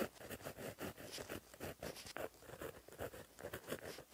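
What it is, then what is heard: Pen writing on a paper notebook page. A gel pen with a plastic barrel and metal tip, held in the fingers, writes across a flat black lined paper notebook page resting on a surface. The tip makes a quiet, steady run of soft scratching strokes in short bursts, mostly in the low-mid range with some bright hiss. The strokes end quickly, with almost no ring.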